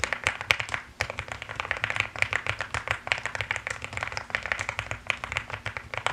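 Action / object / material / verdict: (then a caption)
tap / mechanical keyboard with plastic keycaps / plastic / none. Fast typing with fingertips and long nails on a mechanical keyboard with pink and white plastic keycaps produces a dense, continuous run of sharp, bright clicks and clacks. Each tap dies away almost instantly, with a brief pause near the one-second mark before the rapid typing resumes.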